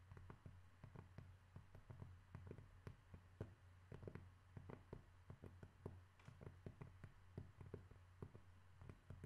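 A cork object is tapped repeatedly in a steady, irregular series of soft, dull, muffled taps. Each tap dies away almost instantly, with its energy mostly low. A constant low hum runs underneath the whole clip.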